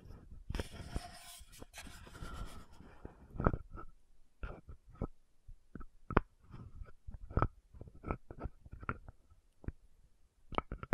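Long nails scratch and tap the gold cap of an orange-red frosted plastic VC100 lotion bottle. A dense, rustling scratch fills the first few seconds. It gives way to a run of separate, short, dry clicking taps with a faint mid-range ring and a soft low thud underneath.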